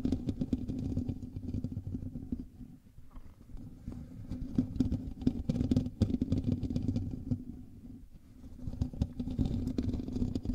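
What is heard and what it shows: Fingertips and nails from both hands scratch the hollow metal mesh grille of a black USB microphone. The result is a dense, continuous rasping and rubbing, heavy in low rumble with a steady hum-like tone underneath and brief sharp scrapes. The scratching eases off briefly around the three- and eight-second marks before resuming.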